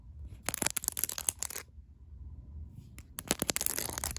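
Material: Plastic.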